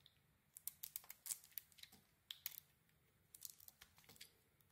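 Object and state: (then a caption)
Bar of soap being cut and shaved. A solid red-striped white bar of soap is cut and shaved with a metal utility blade. The sound is a quiet series of crisp, bright crackling and scraping bursts in short clusters with brief pauses between them. Each cut is dry and snappy, with almost no low end and no lingering ring.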